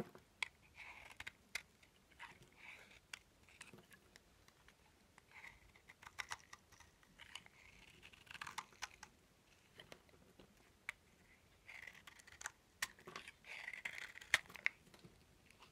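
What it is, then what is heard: Dry bar soap. A small knife blade repeatedly scrapes and cuts crunchy flakes and chunks from a solid, dry, cream-colored bar of soap with a dark coating, held in one hand over a wooden table. The result is quiet, bright, crisp scratching and crackling with many short, sharp clicks at an irregular pace.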